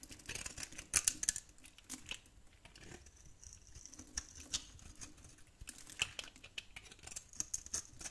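A metal blade scrapes along the edge of an old, solid olive-green dry soap bar held in the hand, cutting small pieces off it. The result is a quiet run of crisp, bright scraping and crackling ticks, with a few sharper snaps standing out.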